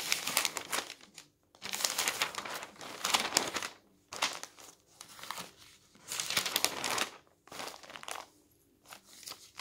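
Thin newsprint pages of an open newspaper on a table are grabbed and flipped over with the fingers, giving bursts of bright, crisp crinkling and rustling. The bursts come in uneven waves separated by brief quiet gaps, with almost no low end and no ring after each crackle.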